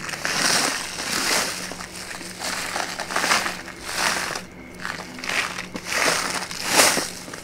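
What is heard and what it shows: An empty or nearly empty brown kraft paper bag is held in both hands and folded, crinkled and tapped with the fingertips and nails. Dry, bright crinkling and crackling swell and fade in repeated bursts about every second or two, at an uneven pace. A faint steady low hum runs underneath.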